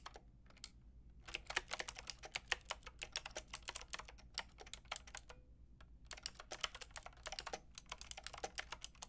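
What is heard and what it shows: A Lofree plastic mechanical keyboard with a plastic frame and round keycaps is typed on with two hands wearing long red nails. Bright, sharp clicks and clacks come in quick bursts with brief pauses between them, each keystroke dying away almost instantly.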